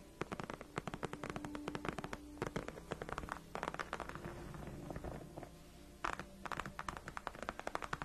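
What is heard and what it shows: Long nails of both hands scratch and tap across a large, padded white faux leather gaming chair backrest. Rapid, dry clicking taps mix with soft, crackly scratching. The activity eases into quieter scratching briefly near the six-second mark, then the quick tapping resumes.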